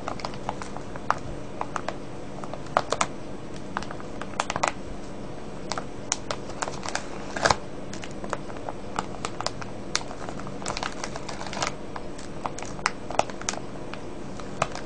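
Fingertips scratch and crinkle a full, clear plastic cellophane bag of wrapped candies with a red label. Many short, sharp crackles and snaps are scattered throughout over a steady low background rumble.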